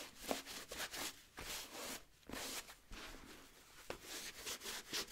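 A blue microfiber cloth held in the fingers wipes and rubs the rubber lug sole of a wheat nubuck leather boot, which is held up, hollow and empty. Soft, airy swishing strokes come in quiet, bright bursts with brief dry scuffs and little ring.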